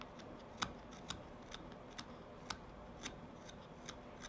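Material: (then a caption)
Wood. A steel knife carves shavings from the surface of a hand-held wooden tobacco pipe bowl with a black stem. Crisp, short knife-on-wood cuts land at irregular intervals, each a sharp, bright click that dies away almost at once over a low, steady background hiss.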